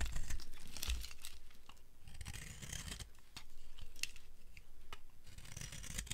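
The edge of a dry, solid red soap bar is scraped with a utility blade, producing rapid, uneven strokes of crisp, crunchy scraping with a bright, papery texture over a low rumble. Dry, crumbly shavings come off the bar.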